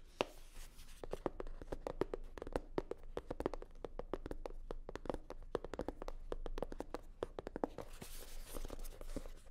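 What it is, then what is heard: Hollow faux leather sunglasses case. Long nails rapidly tap and scratch a hollow navy blue hard-shell sunglasses case covered in faux leather. The result is a dense run of short, dry clicks with a hollow knock around 550 Hz over a steady low hum. Near the end, a brighter, hissing scratch takes over.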